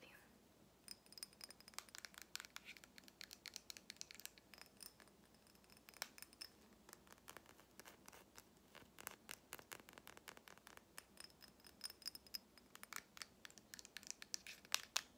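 Fingernails and fingertips tap and scratch the glass and the pink cap of a small glass perfume bottle, partly filled with gold liquid and wrapped with a ribbon, held up close. Dozens of quiet, bright, very short clicks and scratchy rasps come in quick irregular bursts, with a faint high glassy ring and almost no low end.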